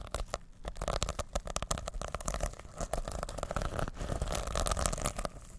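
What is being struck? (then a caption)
Fabric pouch covered in plastic sequins. Fingertips rub and scratch the plastic sequins covering a soft, reversible fabric sequin pouch held in both hands. The result is a steady stream of rapid, dense crinkling and scratchy clicks with a soft, low-heavy body and quick, dry decay, rising and falling in intensity throughout.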